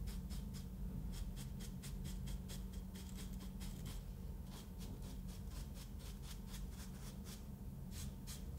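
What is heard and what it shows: A paintbrush is brushed over a solid, ridged kinetic sand block, then lifted away. Quick, bright, soft swishes repeat over a steady low hum at an even, quiet level throughout.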